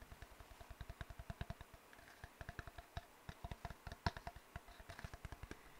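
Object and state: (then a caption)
Cardboard tube. Fingertips tap and nails scratch on an empty, hollow brown cardboard tube held in both hands. About thirty soft, quick taps each give a low hollow thump around 82 Hz that dies away almost at once. Faint dry clicking and scratching sit above the thumps.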